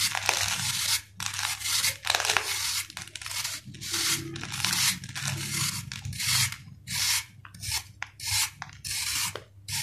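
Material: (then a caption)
Sand-cement. A steel knife blade shaves a round, solid sand-cement ball held in the palm. A rapid series of bright, gritty scraping strokes is heard, separated by short pauses, over a faint low hum.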